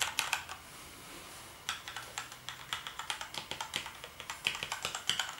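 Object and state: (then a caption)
Plastic keyboard typing. Fingertips type on the keys of a black plastic gaming keyboard. A few quick taps come first, then a pause of about a second, then a steady run of crisp, bright clicks. Each keystroke is short and snappy with almost no low end.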